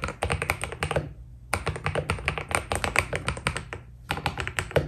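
A white Keydous NJ80 mechanical keyboard with PBT plastic keycaps is typed on steadily with the fingertips of both hands. Quick, sharp keystrokes come in rapid runs, each with a short, deep thock and a bright click that dies away almost instantly. The typing pauses twice for a moment before starting again.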